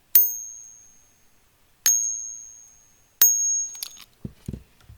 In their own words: Here's the copper fake.